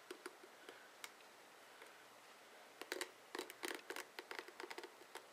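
Fingertips and short nails flick and scratch along the dense plastic bristle tips of a hand-sized, blue plastic oval paddle hairbrush with a hollow head. The result is quiet, sparse, bright ticks at first, then denser clusters of crisp scratchy clicks with very short ring and no low end.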